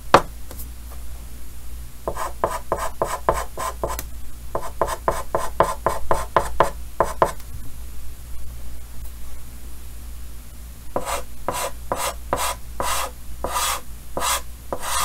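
Yellow chalk held in the fingers makes short hatching strokes on a large, flat, painted, solid green-framed chalkboard. The result is bursts of rapid, dry scratches that rise to bright, raspy highs, separated by pauses. A low hum sits underneath throughout.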